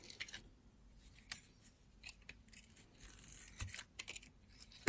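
A utility knife blade slices the glitter coating off a solid round blue soap bar held in the hand. Quiet, bright, crisp scraping cuts come in short irregular bursts, ending in one sharper, louder snap.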